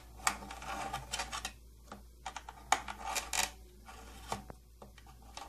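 Long painted nails tap on the front panel of a closed, medium-sized, hollow purple plastic tattoo kit case with silver trim and a silver latch. Irregular, short, dry clicks come with brief bright scratchy bursts, all decaying almost instantly over a faint steady low hum.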